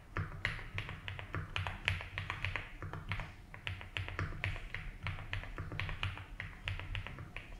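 Fingertips tap the keys of a 75% mechanical keyboard with ABS keycaps in a light blue plastic case, typing at an unhurried pace. Each keystroke is a crisp, bright clack that dies away quickly, layered over a steady low hum.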